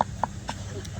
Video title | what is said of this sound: Unlocking The Secrets Of Grave Marker Preservation With Jonathan Appell At Rock Creek Cemetery! | if you lightly tap it you can hear that M so it's actually Hollow behind the surface whereas down here it's solid